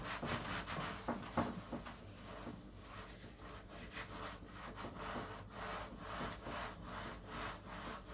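A grey cloth held in a blue rubber-gloved hand wipes and rubs the empty, solid horizontal shelf of a white shelving unit, a white laminated particleboard board, while the other gloved hand steadies the shelf edge. Quick, uneven back-and-forth rubbing strokes make a soft, breathy scuffing with a low undertone, and a couple of sharper knocks stand out early on.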